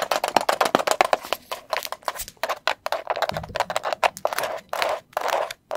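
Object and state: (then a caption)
Plastic tub tapped with nails. Long pointed acrylic nails tap fast on the lid and sides of a medium green and white plastic tub of chlorella powder, its lid apparently closed and filled, held near the mic. A rapid, uneven run of dry, hollow clicks sounds with a woody, mid-pitched knock and bright edges, each tap dying almost instantly with little low end.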